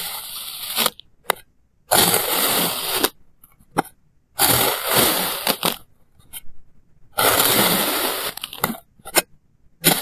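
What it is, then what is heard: Kinetic sand being sliced. A clear plastic knife slices a small, solid block of blue kinetic sand into thin layers, cutting and scraping through it. Four long, grainy, crunchy scraping strokes carry bright, hissy texture, separated by short clicks and taps as the knife lifts and resets.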